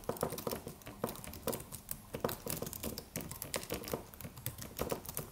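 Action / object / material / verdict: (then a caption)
tap / aluminum computer keyboard with plastic keys / plastic / none. Fingertips of both hands tap the white plastic keys of a slim, silver aluminum computer keyboard with a solid low-profile body in a steady typing motion. The result is a quick run of soft, short clicks with a light hollow tone around 500 Hz and bright, crisp edges, each dying away almost instantly.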